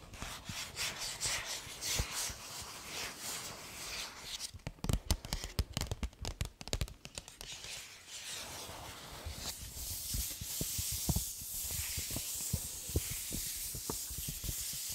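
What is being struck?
Paper gift bag.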